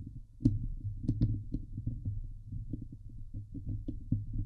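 Long nails scratch the hollow steel mesh dome grille of a Blue Yeti microphone. The result is a dense, muffled run of low thumping scrapes over a steady low hum, with a few sharp, bright crackles standing out near the start.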